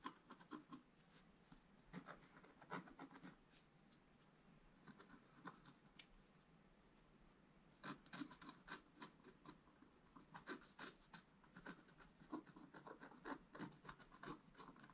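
A pointed wooden stylus scratches across a flat, thin black coated scratch-art card. The result is quiet, dry, raspy scratching in short, bright bursts of strokes, broken by brief pauses and a longer lull before the strokes pick up again and continue steadily to the end.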